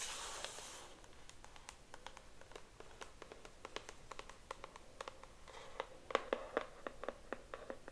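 Long acrylic nails scratch and tap the printed front and edges of a pink cardboard hairbrush box held in one hand. A bright, hissy scratch opens the clip, then gives way to a quick run of crisp, dry taps with a faint hollow tone around 530 Hz. The taps grow louder and denser toward the end.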